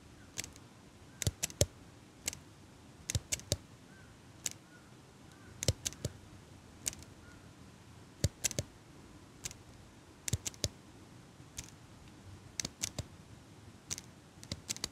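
A small metal eyelash curler, held close to the mic, is squeezed open and shut by fingers with long pink nails. It makes a steady series of sharp, dry metallic clicks, often in quick pairs and triplets, over a soft, low background hiss. Each click is bright and stops instantly with no ring.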